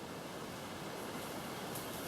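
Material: Nothing is struck.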